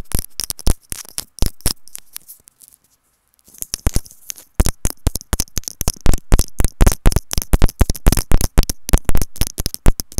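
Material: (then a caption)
Plastic. Long nails scratch and tap a white plastic earphone inline remote and mic held in the hand with its cable looped, in quick, uneven bursts of close, crisp clicks with deep thumps. The tapping stops for about a second near the three-second mark, then resumes faster and denser to the end.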